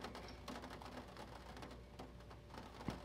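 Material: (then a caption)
Paper. Fingertips tap and rub the printed pages of an open vintage paper catalog, producing soft, quiet clicks and papery brushing over a low steady hum. The sounds are short and dry, with a slightly louder tap near the end.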